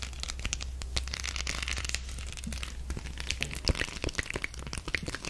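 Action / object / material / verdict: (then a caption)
scrape / beaded coaster / beads / none. Long acrylic nails scratch across a flat octagonal spider-web coaster covered in small silver and black beads, held up in the air. The result is a dense, continuous run of bright, crackly clicks and rattles as the nails drag over the beads, with a steady low hum underneath.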